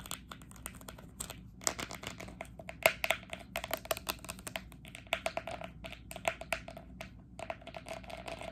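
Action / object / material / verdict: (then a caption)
tap / small plastic sports cone / plastic / none. Long acrylic nails tap quickly on the tip and body of a small hollow green plastic training cone held sideways. The result is a fast, irregular stream of bright, dry clicks, each with a faint hollow tone near 650 Hz that dies away almost instantly, over a quiet background.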